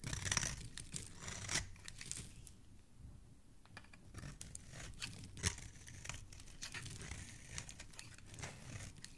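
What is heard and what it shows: A black blade repeatedly scrapes a small, solid yellow bar of soap that has already been partly carved, peeling off long curls and crumbs. The result is a run of dry, crisp scraping and crackling strokes with bright, papery texture and a soft low rumble underneath, at a quiet level throughout.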